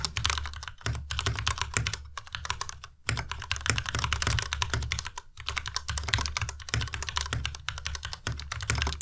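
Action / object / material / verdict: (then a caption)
tap / plastic mechanical keyboard / plastic / none. Fingertips type fast on a white Ducky Miya Pro tenkeyless mechanical keyboard with plastic keycaps, producing a dense run of short, bright clacks over a low, hollow thock. Brief pauses break the steady clatter near one, three and five seconds.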